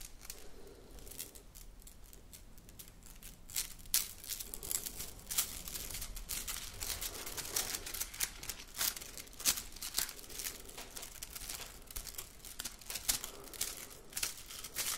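A red plastic slinky spring is compressed and bent in the hands, its coils flexed and rubbed against each other by the fingers. The result is a dense run of short, dry, bright clicks and crinkly rustles with almost no ring, over a faint low background hum.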